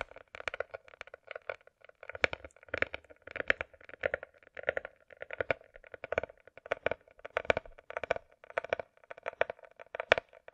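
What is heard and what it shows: A closed, hollow hard-shell glasses case with a glossy coated shell, likely plastic, is held on edge and tapped with long nails. Quick bursts of light, crisp clicking taps recur in steady clusters. Each hit has a hollow midrange tone around 645 Hz with bright edges and almost no low end.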